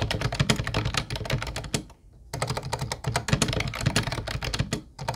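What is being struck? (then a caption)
Plastic keyboard with round keycaps. A mint-blue plastic retro Ubotie keyboard with round white keycaps is typed on with the fingertips of both hands. Dense, quick plastic clacks with short decays run steadily, pause briefly near the two-second mark, then resume and dip once more just before the end.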